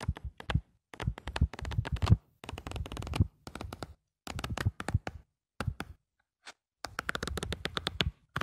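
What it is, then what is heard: Paper notebook pages. A hand rubs the surface of a lined paper notebook page and flips its pages, making close, soft rustling and crinkling in short bursts separated by brief pauses. The sound is dense and low-weighted, with crisp, bright paper crackles on top, and the last burst is the fullest, busiest stretch of rubbing.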